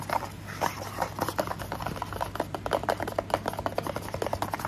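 Fingernails tap and scratch a small, hollow, orange printed paperboard box for SPF 50 sunscreen, making a quick, irregular run of light, dry clicks and papery scratches over a low steady hum. The taps are short and clipped with little ring, centered in the mid range with faint bright edges.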